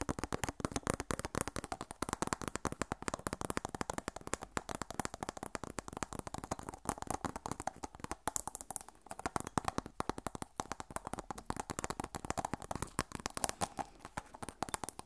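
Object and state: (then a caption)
Glass perfume bottle. A Miss Dior glass perfume bottle, partly filled with pink liquid and held in one hand, has its clear faceted glass cap rapidly tapped and scratched with long nails. The result is a quiet, continuous stream of quick, dry clicks and scraping with very short decay and no ringing.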